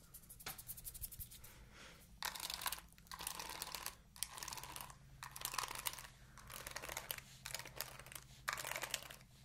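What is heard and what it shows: Long nails scratch the bristles of an oval plastic paddle hairbrush with a purple galaxy back. Bursts of bright, raspy crackling come in repeated strokes separated by short pauses, over a faint steady low hum.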